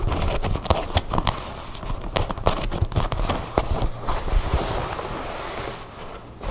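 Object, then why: Denim jeans. Long blue nails tap and scratch a pair of blue denim jeans lying on a table, working over the fabric, its seams and the back pocket. Fast, irregular tapping makes dull, low thuds, mixed with soft scratchy rustling of the denim.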